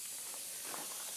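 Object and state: Nothing is struck.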